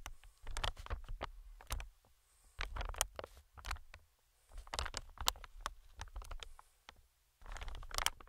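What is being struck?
Inflated plastic-film air cushion.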